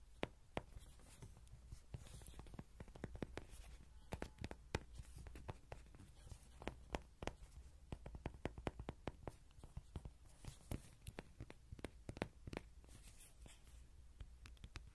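A hollow yellow vinyl Rody toy is held in both hands while fingertips and nails tap and scratch its face and sides. Dense, quick, sharp clicking taps are heard over soft scratching, with a low hollow thump underneath.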